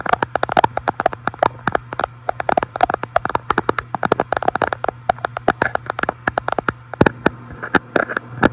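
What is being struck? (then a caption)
Flat glass front panel of an electric fireplace. A fingertip taps rapidly and repeatedly on the large flat glass front panel of an electric fireplace, about 52 short, sharp, dry clicks with almost no ring. A steady low hum runs underneath throughout.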